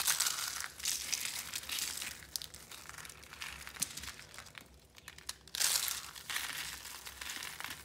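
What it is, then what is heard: Dry, brittle soap flakes. Pink and orange dry soap-curl roses and flakes, a handful of brittle flakes crushed and rubbed between the palms. Dense, bright crinkling and crunching fills the clip, with a quieter patch in the middle before a loud burst of crushing near the end.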